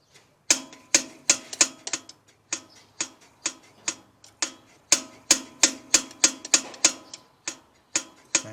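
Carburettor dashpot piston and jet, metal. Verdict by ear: Centred.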